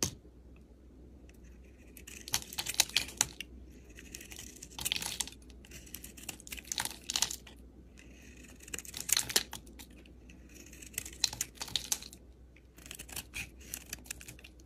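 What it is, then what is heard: Bar soap being carved. A metal utility knife blade slices and scrapes a solid rectangular bar of soap, with a purple, teal and tan outer layer over a pale yellow-green interior, held in the hand. Bright, crisp crackling and scraping comes in short clustered bursts separated by quiet pauses, over a faint steady low hum.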